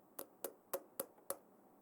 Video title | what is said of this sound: De qual material é feito? - Rioeduca na TV – 2º Ano | ele é feito de plástico percebam o som que ele faz quando eu bato com as minhas unhas